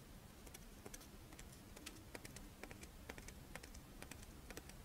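Long painted nails scratch and tap the embossed surface of a hand-sized, Doraemon-shaped monaka, a crisp, dry rice-flour wafer shell with chocolate filling held in both hands. Quick, irregular dry clicks and ticks, each bright and very short, sound over a soft, steady low rumble at a quiet level.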